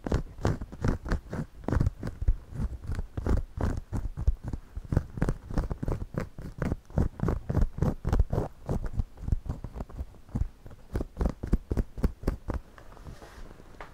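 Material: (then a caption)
Straw. A pencil scratches the side of the brim of a white, wide-brim woven straw floppy hat worn on the head. Quick, dry scratching strokes follow one another in a steady rhythm, each short and crisp with little ring and a heavy low-end thump. The strokes grow fainter and sparser near the end.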